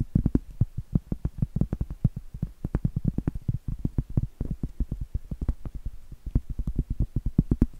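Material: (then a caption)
Cork. Long acrylic nails rapidly tap and scratch the surface of a large, thin, flat, solid round cork trivet held in both hands. The result is dozens of quick, dull, low thuds that die away almost instantly, with faint scratching between them and little high or bright content.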